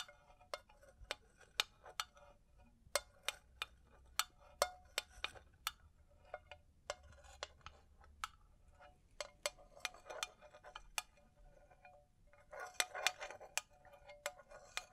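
A hand-sized, hollow, empty cylindrical makeup brush holder, made of faceted crystal glass panels in a gold metal frame, is held in both hands and tapped and scratched with long blue nails. A dangling chain face veil may add sound. The result is a steady run of quick, bright clicks and taps with short glassy chinks and soft scratching. Each hit stops almost instantly, and the texture gets busier near the end.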